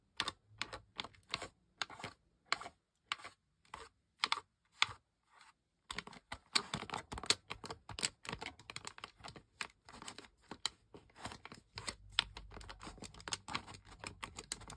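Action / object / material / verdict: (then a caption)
tap / plastic game controller buttons and thumbsticks / plastic / none. Toes with painted toenails press and click the face buttons and thumbsticks of a single camouflage-pattern plastic gamepad, a hollow plastic shell lying on a white surface. Sharp, bright plastic clicks come in spaced, separate presses for the first six seconds. They then turn into a rapid, dense clatter of dry, short clicks that stop with almost no ring.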